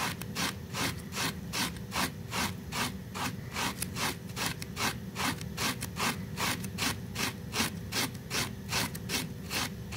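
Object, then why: Small woven fabric rug scrubbed with a plastic bristle brush. A small, flat, woven pink fabric rug covered in soapy foam is rapidly scrubbed with a pink plastic bristle brush. About 23 steady, rhythmic brushing strokes, roughly 150 per minute, each make a bright, wet rasping swish over a low foamy rumble.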